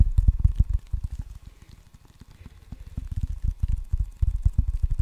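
Fingertips tap the red rubber face of a solid wooden ping pong paddle held in front of the mic, making a rapid stream of short, dull, low thuds. The tapping softens in the middle, then grows loud again toward the end.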